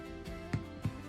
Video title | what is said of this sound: Making Irish Soda Bread with Colin | it sounds hollow to the touch